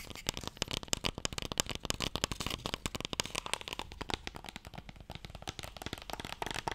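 A closed, long, light, hollow wooden Mikado box held in both hands is tapped quickly on its broad face with fingertips and nails. The result is a rapid, steady stream of short, dry clicks and knocks with a bright edge and almost no ring.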